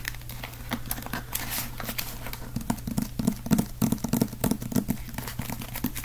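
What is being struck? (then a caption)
Small hardcover book. Fingertips tap and scratch the cover and spine of a small, solid, dark green hardcover book held close in the hands. The result is quick, irregular, dull taps mixed with dry scratching over a steady low hum.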